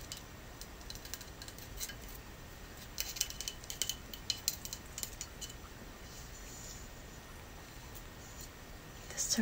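Natural fingernails tap on a Buddha incense burner carved from soapstone, whose surface is cool and hard. Quiet, sharp, bright clicks with very short ring come in loose clusters, busiest from about 3 to 5 seconds and picking up again at the end over a faint steady hiss.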